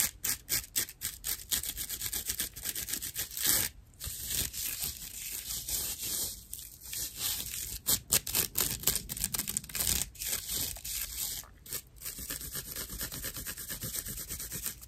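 A dry natural loofah pad of fibrous plant material, with a cotton string loop, is scratched and rubbed with long nails. The result is a steady run of rough, bright, crackly scratches, dominated by high hiss with little low end. Brief pauses break up the scratching here and there.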